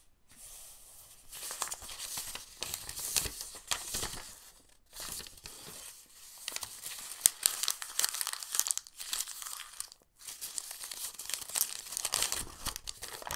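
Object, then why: Thin paper book page. A single thin, yellowed printed book page is held flat on a sketchbook and then crumpled into a ball by bare fingertips. Dense, bright crinkling and crackling comes in three stretches of rapid, sharp snaps, separated by brief near-silent pauses around 5 and 10 seconds, with almost no low end.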